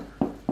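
A freshly baked sourdough loaf, cooled to about 90°F inside, is tapped twice. Each tap gives a short, dull, low hollow knock, showing the bread is baked through.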